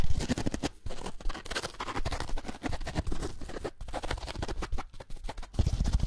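A small rectangular kitchen sponge, yellow foam with a green abrasive scouring layer, is held in one hand close to the microphones while the fingertips and nails of the other hand scratch and rub it. The result is a fast, dense run of soft, muffled scratching and scrubbing strokes with a heavy low-end thump and almost no ring after each stroke.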